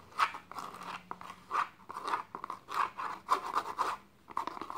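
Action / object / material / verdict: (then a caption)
scrape / small faux leather box with suede lining / suede / none. Fingertips and medium-length nails scratch and rub the tan suede lining on the inner walls and floor of a small, open, hollow, empty box made of dark textured faux leather. A series of soft, dry, raspy scratching strokes comes in short bursts with brief pauses, centered in the midrange with a slight hollow resonance. Each stroke fades almost immediately.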